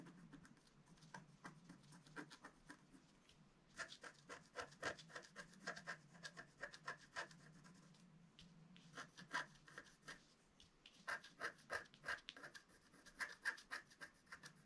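A pointed wooden stylus scratches across a flat black sheet of wax-coated scratch art paper, held down by one hand, as the rainbow layer shows through. Quiet, dry scratching strokes come in quick, uneven bursts with a bright, rasping edge. They thicken into busier runs in the middle and toward the end, with short pauses between.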